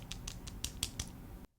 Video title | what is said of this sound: You Are Missing 90% of What Your Brushes Can Do - Wacom Art Pen 2 Review | rattle a lot. It feels like some stuff like the eraser and other parts are jiggling around inside